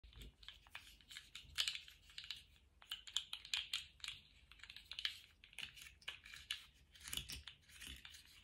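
A small, colourful plastic slug fidget toy with hollow, jointed ring segments is held in lace-gloved hands and wiggled and flexed. Its segments click against each other in a quiet, irregular stream of short, bright, dry clicks and rattles. There is almost no low-end body.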